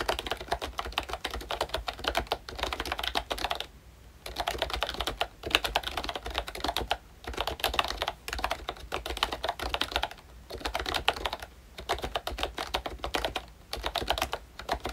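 Fingertips of both hands type on a full-size pink Mickey Mouse retro membrane keyboard with a plastic case and round dark green plastic keycaps. Rapid, dense plastic clicks and taps run in bursts, with short pauses between runs. The clatter has a bright, crisp top and a low steady hum underneath.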